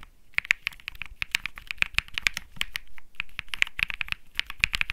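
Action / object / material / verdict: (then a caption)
tap / mechanical keyboard, plastic keycaps / plastic / none. Both hands type rapidly with their fingertips on a 65% mechanical keyboard (Think 6.5, Bsun Lollipop) with plastic keycaps. It makes a fast, steady stream of sharp, bright clacks that die out instantly, with faint low thumps beneath them.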